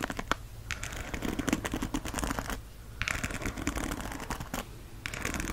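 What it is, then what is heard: Plastic paddle hairbrush. Fingertips and nails strum and scratch across the many ball-tipped plastic bristles of a black and teal plastic paddle hairbrush held over a fleece blanket. Dense runs of quick, bright plastic clicks and scratchy rattling come in bursts, separated by brief quieter pauses.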